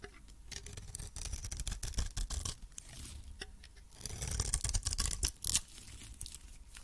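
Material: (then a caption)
Soap. A metal blade scrapes and cuts the surface of a hand-held cream solid soap bar with an orange coating. Dry, crackly scraping strokes and short, brittle snaps follow in an uneven rhythm, bright at the top with a soft low rumble underneath. The scrapes swell louder toward the end.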